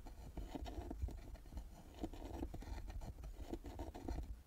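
Long nails scratch and tap the carved lid and metal plaque of a small hollow carved wooden box resting on a table. The result is a quiet, dense patter of dull, low knocks mixed with soft scraping, each tap dying away almost at once.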